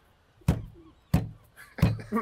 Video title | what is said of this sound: EP4 - SWORD - PAINTER - TAKEN FOR A RIDE - REPO RECALL - REPO MAN | Oye, eso es acero sólido.